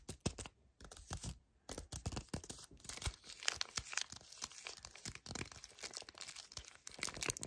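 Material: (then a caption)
Cardboard. A full yellow cardboard chocolate bar sleeve is gripped, squeezed and scratched with fingertips and painted nails. The result is a dense run of dry, bright crinkles, crackles and quick scratchy clicks. Two brief near-silent pauses come early on, and then the handling continues steadily to the end.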